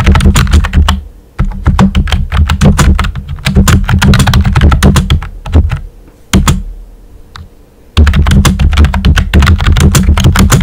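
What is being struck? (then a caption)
Plastic computer keyboard with round keycaps. Fingertips with short nails type on the hollow keys of a pink and white plastic computer keyboard with round typewriter-style keycaps. Rapid, uneven clacking comes in bursts over a low, heavy thud, with brief pauses around the middle and near the end before the typing resumes.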